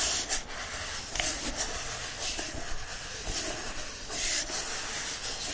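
A yellow hardcover book with a printed cover is held and turned over while a palm and fingertips rub across the front cover, then scratch the back cover. The result is a steady, bright, hissy rubbing and scratching texture that swells and fades in soft waves with a few faint low thumps from handling.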